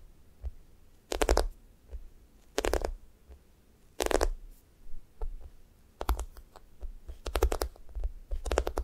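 Fingernails poke dents into a thick, solid, sticky foam squishy toast while fingers press and squeeze its top. Bursts of crackly, sticky peeling noise rise and fall with each squeeze, separated by soft taps and light clicks from the nails. The squeezes leave a quiet, close, low-pitched rustle between them.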